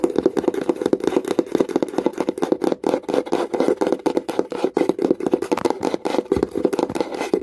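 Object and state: Wooden box.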